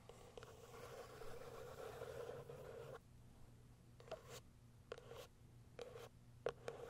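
Long nails scratch the sides of a small white cardboard product box resting on a fur rug, making a steady, dry scraping for about three seconds. The scratching then gives way to a series of short, sharp taps on the top of the box over a faint low hum.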